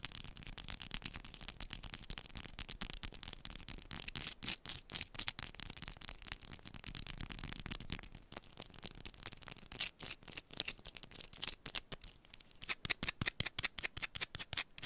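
Long pointed nails scratch fast and hard across a small, solid yellow bar of soap held in both hands. The result is a dense run of crisp, bright scratching clicks with almost no ring. Toward the end, sharper, more distinct strokes stand out.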